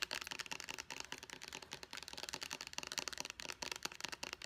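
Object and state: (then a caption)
Plastic pump bottle tapped and scratched with nails. Long nails rapidly tap and scratch the label side of a small white plastic pump bottle. A dense run of quick, dry, bright clicks and light scratches fills the whole clip, with each tap dying almost instantly and little low end.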